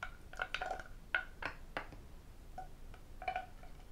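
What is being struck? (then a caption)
Lacquered wooden tray. A medium, hollow, empty red lacquered wooden octagonal tray with Chinese characters is tapped inside and outside with fingertips, nails and metal rings. The result is a quiet series of short, dry clicks and knocks with a woody tone around 1.5 kHz and almost no ring. The taps come in irregular bursts over a soft background hiss.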